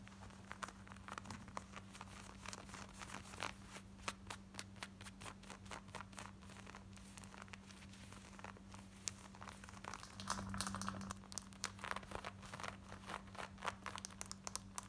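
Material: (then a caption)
Denim. Long nails scratch fast over the back pocket and waistband of worn, light blue, ripped and distressed denim shorts. The result is a dense, irregular stream of dry, rasping strokes with crisp, bright edges. A steady low hum runs underneath throughout.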